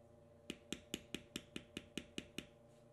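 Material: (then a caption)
Leather. A metal beveler, held down by the fingertips on a tan carved vegetable-tanned leather strip resting on a stone slab, is tapped with ten quick, evenly spaced strikes. Each tap is a short, dry click with a bright, high edge over a low knock, dying away almost instantly above a faint steady hum.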